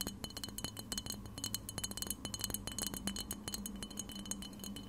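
Long red-painted nails tap rapidly on a clear glass cleanser spray bottle, hollow and partly filled with liquid, held close to the recorder. Quick, bright glassy clinks with a short high ring ride over a steady low hum throughout.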